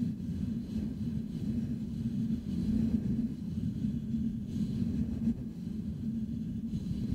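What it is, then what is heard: Metal microphone grille. Fingertips of both hands scratch the hollow metal mesh grille of a Blue Yeti microphone. A continuous, dense, low rumbling scratch is heard, centered in the low-mid range with almost no bright content. The level stays fairly steady throughout, with small swells.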